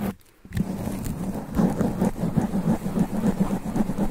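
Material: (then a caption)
Foam. Both hands scratch fast and aggressively at a sponge foam microphone windscreen with long black nails. After a brief near-silent gap at the start, a dense, continuous, muffled rustling and scraping builds, heavy in the low end and growing louder from about halfway through.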